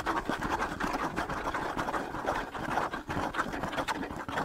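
Fingertips scratch the skin head of a hollow wooden bongo drum held close to a microphone. It makes a continuous, rough rasping with a steady stream of small scrapes, centered in the midrange with little deep low end. The level rises and dips slightly throughout without stopping.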